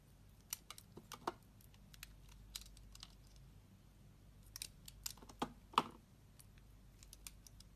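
A metal utility knife blade cuts chunks from a solid pale blue bar of soap that has already been partly carved. Quiet, crisp clicks and short scraping snaps come at an irregular pace over a low, steady hum, with the sharpest, loudest cuts near the end.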